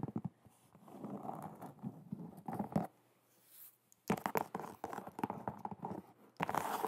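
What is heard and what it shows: An empty black and white low-top leather sneaker with a rubber sole, held in the hands, has its smooth leather upper tapped and scratched with long nails. Quick, dry taps mix with soft scratchy rustling, mostly in the low-mid range. A brief near-quiet gap falls in the middle before the tapping and scratching resume.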